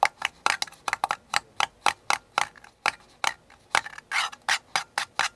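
Painted fingernails and fingertips tap and scratch the outer wall of a small, empty, hollow paper cup, white with a blue flower print, held tilted in one hand. About twenty short, dry, papery clicks and scratchy brushes come in an uneven run, centered in the mids around 800 Hz with a bright crackly top. Each one dies almost instantly, with no low end.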